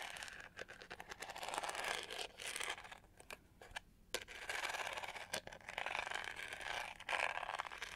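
Long nails scratch across the studded, pyramid-textured back of a hollow, hand-sized plastic detangling hair brush with a pink-to-gold finish and black bristles. The sound is a dry, raspy, bright scratching with little low end, broken by sharp clicks and a quieter lull in the middle before the scraping picks up again.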